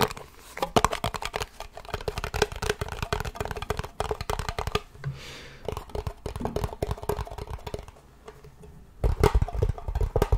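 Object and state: Metal cream tin tapped and scratched.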